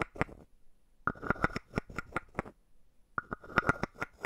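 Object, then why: Hollow carved wooden frog tapped with a wooden stick. A palm-sized hollow carved wooden frog is tapped and scraped on top with a wooden stick. Quick, dry clicks come in bursts separated by short pauses, each sharing a hollow woody tone near 1.4 kHz that dies away almost at once, with faint scraping between them.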